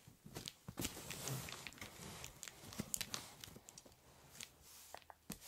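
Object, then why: Ballpoint pen on corrugated cardboard. A metal-bodied ballpoint pen held in the fingers draws and hatches ink lines on the top of a large, empty corrugated cardboard shipping box lying flat. The result is a quiet series of dry, bright scratching strokes, each short and sharp with no ring, over a soft low rumble.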